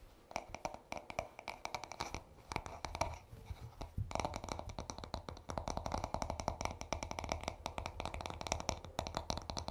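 Short nails of both hands scratch and tap the smooth wooden back of a paddle hairbrush. Quiet, rapid, dry clicks and scratchy strokes follow one another with almost no ring, easing briefly around the second to fourth seconds before picking up again.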